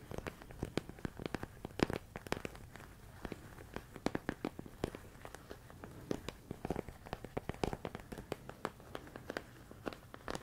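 A medium clear plastic storage container full of rice grains is tapped and scratched with fingertips and nails. Quiet, dry clicks and scratchy crackles come in an irregular stream, with a faint rustle of the rice underneath.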